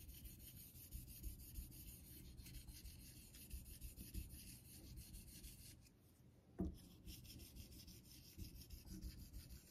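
A vintage Geneva Cutlery steel straight razor is honed on a solid light-blue rectangular Naniwa synthetic water stone in a metal holder, with fingertips guiding the blade in repeated strokes. The result is a steady, soft, low-heavy rubbing and scraping that dips briefly near the six-second mark. A single sharper knock follows, then the strokes resume.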